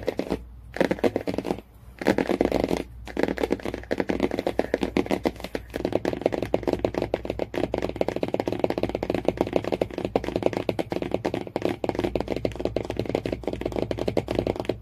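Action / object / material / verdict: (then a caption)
tap / cardboard hardcover book cover / cardboard / none. Fingernails rapidly tap and scratch the cardboard cover and spine of a hardcover book, making a dense stream of dry, short clicks and scratchy scrapes with a few brief pauses. The sound sits mostly in the low-mid range, with a faint low hum underneath.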